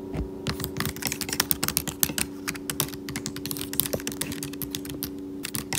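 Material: Plastic.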